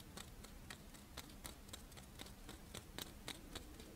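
Long nails scratch and tap the embossed surface of a fish-shaped strawberry rice wafer monaka lying in one palm. About fifteen quiet, dry, bright ticks come at an uneven pace of roughly three to four per second, each stopping almost instantly, over a soft low rumble.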